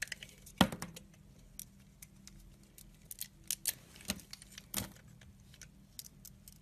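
A red-handled utility blade scores a grid into the glossy surface of a solid green oval VANDA soap bar held in the palm. Short, crisp scratches and ticks ring out with bright, hissy edges over a faint low hum. The strongest strokes fall near the start and again toward the end.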